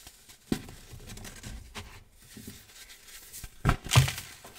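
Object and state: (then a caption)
Crumbling clumps of dyed baking soda. Both hands squeeze and crumble small solid clumps of loose, dry, green-dyed baking soda between the fingers. Soft, low crunching and crinkling crackles come in irregular bursts, with a sharp snap near the start and two louder crumbles close to the end.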